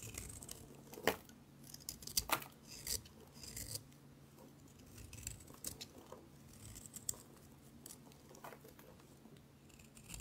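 A palm-sized, solid gray dry soap bar held in the hand is scraped repeatedly with a utility knife blade, shaving off its face until the bar is left smoothed. Short, dry, bright scraping strokes come in irregular bursts, louder at first and then softer, over a faint low hum.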